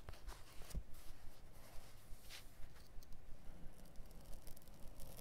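A blade held in the fingers scratches and scores across the light woven/felt backing of a carpet piece turned upside down on a cutting mat. The result is a quiet, muffled scratching with uneven, repeated short strokes and faint crunchy tearing, heavy in low rumble.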